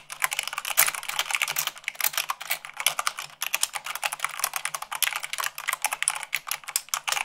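Long acrylic nails type fast, at about 98 words per minute, on a full-size mechanical keyboard with white plastic keycaps on a black base. The result is a dense, rapid stream of sharp, bright plastic clicks and taps with almost no low end. A brief pause falls a little past the halfway point.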